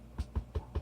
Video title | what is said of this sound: Varnishing Possibilities! (013) | You tap on these, not quite the same. That has more give.